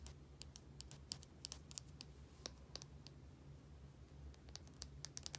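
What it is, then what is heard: Small plastic bottle. Long painted nails tap and scratch a small plastic bottle with a white cap and a barcode label. The result is a quick, irregular run of sharp, bright clicks and scrapes, each dying out almost instantly, over a quiet, steady low hum.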